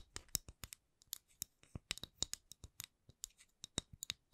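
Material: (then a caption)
Wood. Long acrylic nails tap and scratch a solid, palm-sized round wooden candle lid with a printed logo. About seventeen short, dry, bright clicks come in an irregular, unhurried series. Each one is quiet and dies away almost instantly with no ring.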